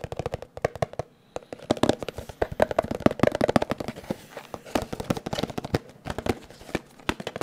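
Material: Cardboard.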